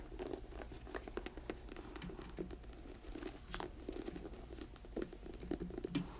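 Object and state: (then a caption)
Leather boot with rubber sole, tapped and scratched. Long nails tap and scratch an empty black leather work boot with a yellow-stitched rubber sole as it lies on a table. The result is a quiet, steady patter of soft, dry taps mixed with raspy scratching, each tap dying away almost instantly.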